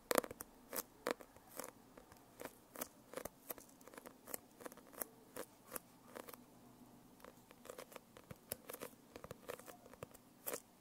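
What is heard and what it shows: Long painted nails tap and scratch across the glossy holographic foil cover of a closed hardcover notebook. About thirty short, crisp, bright taps sound quietly in an uneven patter, each dying away almost instantly, with faint papery scratching between them and little low end.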